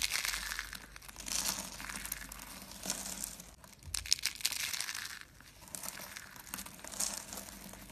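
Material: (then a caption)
Soap. A white, dry soap curl is squeezed and crushed in the fist into fine flakes. It gives a dense, bright, crinkly crunch with almost no low end, coming in rolling bursts that swell and fade. The crackling is dry and short, with no ring after each crunch.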